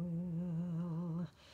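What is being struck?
Nothing is struck.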